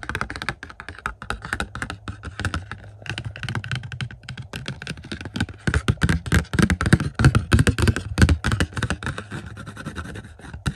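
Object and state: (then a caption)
Plastic Blu-ray case with cardboard slipcover. Fingertips tap quickly on a hollow plastic 4K UHD Blu-ray movie case of Top Gun Maverick, held in hand, with a glossy cardboard slipcover. The result is a rapid, irregular stream of soft, dull taps with low, hollow thuds and almost no ring, growing louder and denser toward the middle and end.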